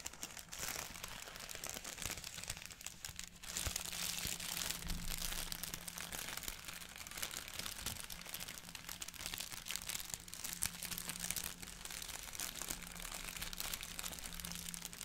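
Fingertips scratch and crinkle a thin, hollow Daily Prophet printed paper bag up close, producing a dense, continuous stream of bright, papery crackles and rustles. A faint low hum sits steadily underneath throughout.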